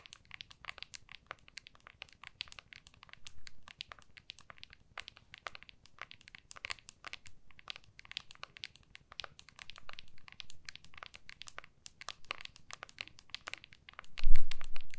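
Long nails rapidly tap and scratch the back of a small, solid iPhone in a clear plastic case held in both hands, making a dense stream of short, crisp, bright clicks over a soft crinkly scratching. A louder, low thump and rustle comes near the end.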